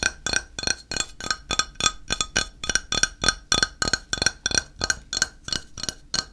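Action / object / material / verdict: tap / ceramic tile / ceramic / none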